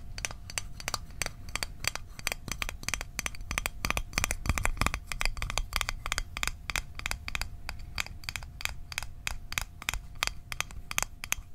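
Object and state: Small metal mint tin.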